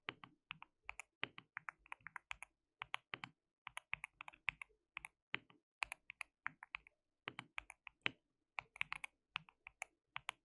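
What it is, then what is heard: Plastic mechanical keyboard being typed on. Fingertips of both hands type on a white plastic mechanical keyboard with translucent keycaps. About fifty quick, bright, clacky keystrokes come in irregular bursts with short pauses, each dry and dying away almost instantly. The overall level stays soft, with little low end beneath the crisp clicks.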